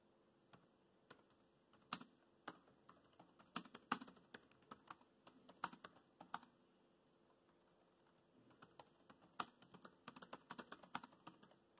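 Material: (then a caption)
Plastic. Fingertips type on the black plastic chiclet keys of a dark grey plastic laptop keyboard, producing quick, dry clicks and taps of uneven loudness. The typing runs in bursts, with a quiet pause in the middle before it resumes.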